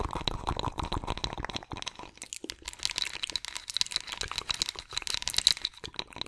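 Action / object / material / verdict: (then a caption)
scrape / ridged wooden massage roller scratched with long nails / wood / none. A ridged wooden massage roller with carved rings, solid wood, is scratched with long acrylic nails. The result is a dense run of fast, dry, bright scratching clicks with crunchy crackle. A steady high tone sits under the clicks, and there is a short pause in the middle.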